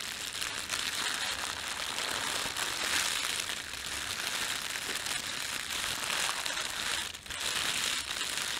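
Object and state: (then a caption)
Thin plastic bread bag. A thin, red-and-white printed plastic bakery bag is crumpled by fingers and then rubbed between flat hands. The result is a steady, bright crinkling and rustling that is dense and continuous, with almost no low end and a brief dip in loudness near the end.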